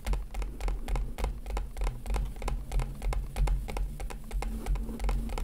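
Fingers gently tap on a plastic package, making quick, irregular, crisp taps at about three per second. Each short tap fades fast over a steady low rumble.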